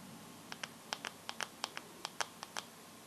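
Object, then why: Smartphone with glass screen. Long nails tap and scratch the black glass screen of a bare teal Samsung phone with no case, its screen side up. About a dozen short, crisp clicks ring out over a faint steady hiss, each bright and gone almost at once.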